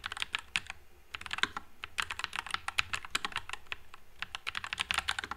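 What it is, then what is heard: Mechanical keyboard with plastic keycaps. A white NuPhy Air96 low-profile mechanical keyboard with Wisteria switches and plastic keycaps is typed on continuously with the fingertips. The keystrokes are quick, bright clacks that die away almost instantly, forming an uneven, rapid patter with little low end.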